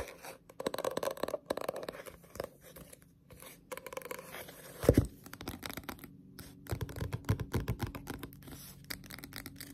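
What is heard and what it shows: Long pointed nails tap and scratch on a Naruto paperback manga, a solid paper book with a glossy cover, first held up and then laid flat. Quick, soft, papery taps come in dense runs, mixed with dry scratching across the cover. One sharper, louder tap stands out around the middle.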